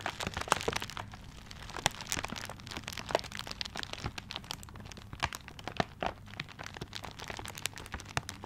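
Fingertips scratch and tap the tiger-print wrapping paper of a gift held upright close to the microphone. Dense, bright crinkling and crackling scratches run throughout, broken by sharp, quick taps with almost no ring, over a faint low steady hum.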